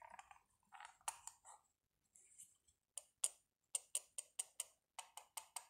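A small, hollow, rectangular black matte plastic power bank, held in a gloved hand, is scratched and then tapped along its face and edge with the metal tip of a pen-like tool. Soft, brushy scratching gives way to a steady run of sharp, bright, high-pitched clicks that die away almost instantly.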